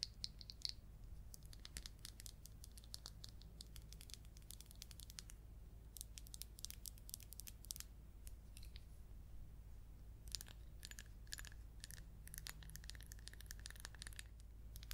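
A round glass perfume bottle with a gold metal cap, partly filled with amber liquid, is tapped and scratched with long coral nails. Quick, crisp high clicks and scratchy, crinkly rasps come in dense bursts over a steady low hum, with short stretches of brighter tinkling taps.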